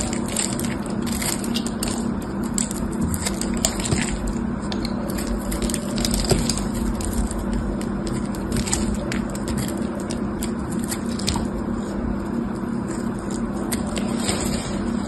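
A craft-knife blade scrapes and cracks a solid red dried clay block held in the hand, flaking pieces off its crusty surface. A steady run of dry, crunchy scraping is heard, dotted with many sharp, bright cracks and crackles over a low, continuous grind.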